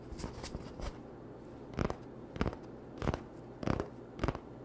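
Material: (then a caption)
Cardboard. Short nails scratch along the surface of an empty, hollow cardboard toilet roll tube held on a towel. A few soft, dry scrapes come first, then five louder, separate rasping strokes with a bright papery texture over a low hollow body. Each stroke stops quickly with almost no ring.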